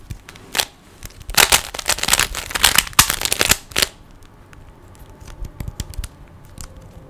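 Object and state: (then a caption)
Plastic puzzle cube being turned. Fingertips turn the layers of a small, hollow plastic 3x3 Rubik's cube, and a finger pushes one face, making sharp, bright plastic clicks. A few isolated clicks give way to a dense, rattling flurry of quick turns, which then fades into scattered, softer clicks.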